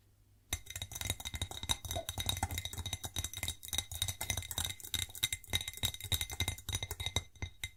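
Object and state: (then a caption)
Ceramic plate. A white ceramic plate is tapped and scratched, giving a fast, uneven run of bright clinks with a high ringing tone. The sound starts after a half-second of near silence and continues with dense, quick taps to the end.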